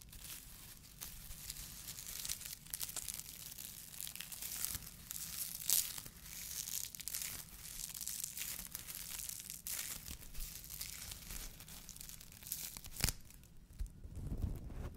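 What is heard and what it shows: A white polyethylene foam fruit protection net, a mesh sleeve, is stretched and rubbed between both hands above the microphone. It makes a steady, quiet stream of bright crinkling, crackling and squeaky tearing-like rustles over a faint low hum, with a few sharper pops standing out.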